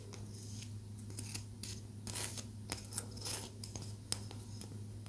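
A small, solid palo santo wood stick held in both hands is tapped with long nails, giving a run of quick, dry, bright clicks and light scratchy scrapes. A steady low hum continues underneath throughout.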